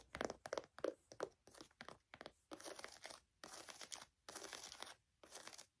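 Long nails tap and scratch the upper and laces of a handheld, hollow, empty white leather high-top sneaker with a strap. A run of quick, crisp taps gives way to longer bursts of dry, bright scratching, each stopping dead with no ring.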